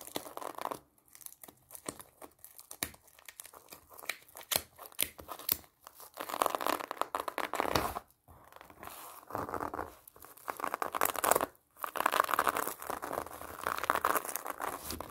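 A large pomelo wrapped in an orange plastic mesh net with a ribbon and barcode label is worked over by long nails that scratch and pluck the netting against the rind. The result is dense, close, crackly scratching and crinkling with quick tearing-like rasps centered near 1 kHz. These come in bursts separated by brief silences.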